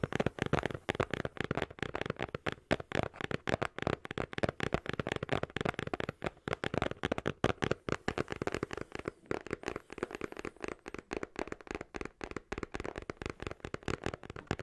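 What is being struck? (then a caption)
Printed cardboard box. A small, hollow, colourfully printed cardboard retail box is held in both hands close to the microphone and tapped and scratched with fingertips and short nails. Quick, dry, crackling taps follow one another almost continuously for about fifteen seconds, with a hollow low body around 120 Hz and little bright content. Each tap dies away almost instantly.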